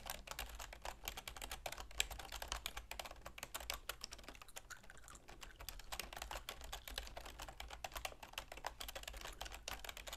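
A full-size black plastic keyboard with a silver plastic frame, resting on a wooden desk, is typed on rapidly with long manicured fingernails and fingertips. The result is a dense, continuous stream of short, bright clicky taps over a steady low hum.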